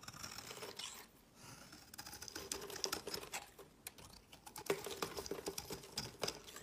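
A solid purple soap bar is set on a woven mat, then held in the hand while a utility knife blade shaves its edge. Quick, crisp scraping strokes come in a rapid run of dry, bright clicks and rasps that stop short with no ring. A faint steady tone sits underneath.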